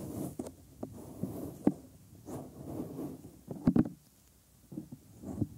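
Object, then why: Silicone ear mold of a binaural microphone. Bare thumbs and fingers grip, fold and rub the helix of the soft, flexible, hollow white silicone ear molds on a 3Dio binaural microphone. Close, muffled low-mid rubbing and squishing swells and fades, broken by soft thumps and a few sharper pops. The sound stays dull, with almost no bright content.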